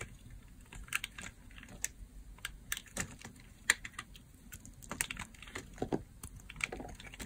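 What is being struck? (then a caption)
Bar of soap cut with a blade. A utility blade cuts and scrapes into a partly carved, blue solid bar of dry soap. It makes a quick, irregular run of short, dry, crisp clicks and crunches with a bright edge. Each one stops at once over a faint low background.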